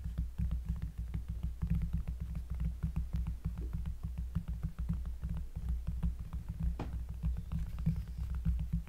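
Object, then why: Cork surface. Close-up fingers tap on a cork surface in a fast, steady run of soft, deep thuds. The sound is almost entirely bass, centred around 160 Hz, with short clicks on each tap and very little ring. A brief brighter scrape stands out near the 7-second mark.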